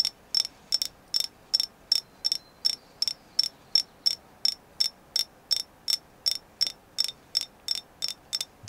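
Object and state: Carved agate figure.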